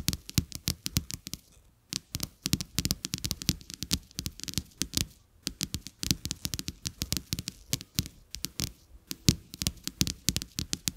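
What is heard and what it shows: Fingertips and nails tap and scratch two thin, solid, flat coated-paper playing cards with a checked back, lying on a carpet. Quick, irregular bursts of dry, sharp clicks carry both a bright crackle and a soft low thump, and each one dies away almost at once. Brief pauses break up the steady patter.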